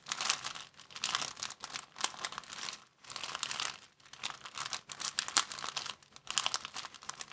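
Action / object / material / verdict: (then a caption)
scrape / thin plastic bag / plastic / none. An empty, thin clear plastic bag is held at the edges and crinkled with the fingers. The result is a dense, bright crackling in repeated bursts separated by brief pauses, with almost nothing in the low end.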